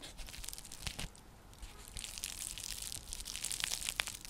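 Long nails scratch across the weave of a round, flat, coiled woven straw/seagrass coaster (trivet). The result is a dry, crackling, bright scratching texture with rapid, short crunchy clicks that swells in intensity toward the end.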